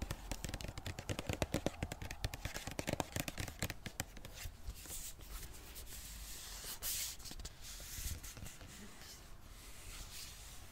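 Long dark nails tap and scratch a hand-sized pink-red Balea plastic squeeze tube with a gold cap. For the first few seconds there is a rapid run of sharp, dry clicks. These then give way to a softer, steady scratching rustle with a bright, hissy edge and occasional light taps.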